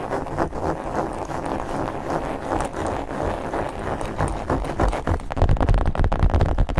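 Long nails rapidly scratch and rub a medium black hard-shell zippered case covered in textured leatherette, hollow and held close to the mics. The result is a dense, fast, irregular scraping with a hollow low resonance. Toward the end it grows louder, with heavier, bassier thumps.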